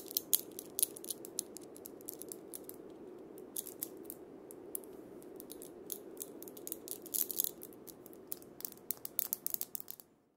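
A wooden cabasa with steel bead chains is played by fingertips and palm scraping and rotating the beads around the cylinder. A steady, soft rattling hiss is broken by many quick, bright metallic clicks throughout, ending in silence.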